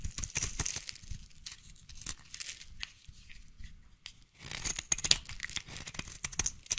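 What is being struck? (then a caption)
Bar of soap scraped by a knife blade. A utility knife blade scrapes and shaves a solid yellow bar of soap into curls, making dense, dry, bright scraping and crinkling sounds in quick repeated strokes. The strokes thin out briefly near the middle, then resume with sharper, louder scrapes.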